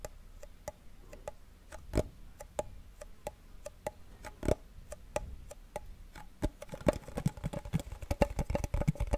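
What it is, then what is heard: Wooden cigar box. A small hollow wooden cigar box with a printed paper label is held beside the microphone and tapped rapidly with a fingernail. Dry, clicky taps with a hollow tone near 590 Hz die away almost instantly, starting spaced out and becoming faster and denser toward the end.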